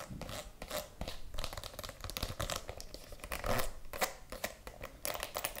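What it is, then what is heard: Faux leather mini handbag. A small pink faux leather mini handbag with handles, hollow, is held in one hand and tapped and scratched with long acrylic nails. The clip is a quick run of dry taps and scratchy, crinkly rubs. Each hit dies away fast, and the scratches add a bright hiss.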